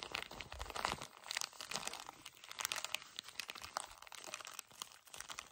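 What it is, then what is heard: Plastic-wrapped tissue pack. A pocket pack of paper tissues in a plastic wrapper is squeezed and crumpled with fingertips. It makes a dense run of bright, crisp crinkles and crunches with almost no low end. The short snaps die away quickly at a fairly quiet level.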